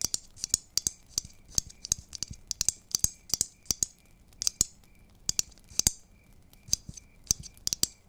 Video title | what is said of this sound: 1 Hour of ASMR Tingles 💖F4M ASMR Roleplays For You 💖 | I've always liked the sound these ornaments make when you tap them